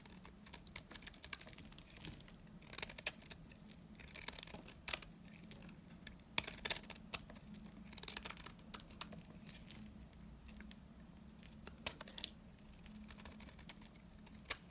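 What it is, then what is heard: Dry bar soap. A metal knife blade carves and scrapes brittle, stringy shavings from a solid, hand-sized, dry yellow-green bar of soap held in the hand, working in repeated strokes. The sound is a quiet, bright, crisp scratching and crackling with sharp dry clicks, rising in short bursts and fading between strokes over a faint steady low hum.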